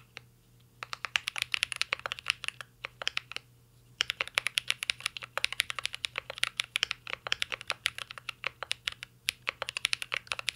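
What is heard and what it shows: A mint-green Cyberboard R3 mechanical keyboard with a metal case and plastic keycaps is typed on with the fingertips in quick, continuous taps. The bright, short clacks come in dense bursts with brief pauses near the start and around the three-second mark.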